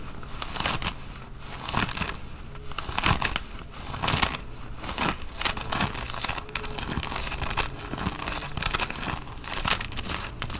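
Fingernails scratch the collar and chest of a worn grey Nike cotton fleece sweatshirt. Dry, bright, crinkly scratching comes in rapid uneven bursts over a faint steady low hum, with each stroke dying away almost instantly.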